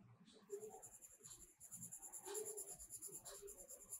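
A pink-purple colored pencil is rubbed and scratched across a paper coloring book page in a spiral-bound sketchbook lying flat while coloring in flower petals. Quiet, continuous scratchy strokes rise and fall in rapid rhythm, with a bright, papery hiss and a faint mid-range tone around each stroke.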